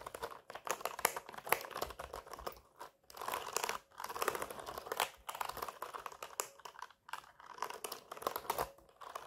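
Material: Plastic.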